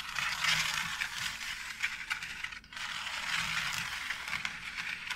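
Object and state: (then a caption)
Plastic faux brick tile. Long acrylic nails scratch and tap along the grooves of a flat white plastic wall tile embossed with a brick pattern. The result is a steady, bright, hissy scraping with quick ticking taps, dominated by high frequencies. It pauses briefly midway and then resumes.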